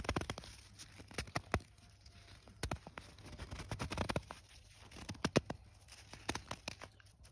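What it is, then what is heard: Handful of fresh snow being squeezed. A handful of loose, powdery fresh snow is scooped and squeezed between bare hands with long nails in an outdoor snow field, packed into a clump. Dense bursts of crisp, bright crunching and crackling come in quick irregular clusters over a faint steady low hum.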